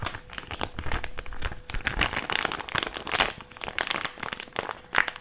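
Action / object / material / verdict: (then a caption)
scrape / small thin plastic pouch / thin plastic / none. A small white plastic mask pouch is folded and squeezed in both hands and crinkled with the fingers. The result is a dense run of sharp, bright crackles and crinkles, with louder bursts around the middle and near the end, over a faint steady low tone.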